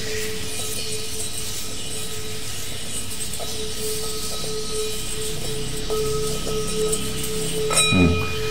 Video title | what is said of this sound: ALTAR #02 -- ProLoBiTV -- Bijaksana -- Sahari | ini gongnya berarti sangat bagus sekali, bunyinya nyaring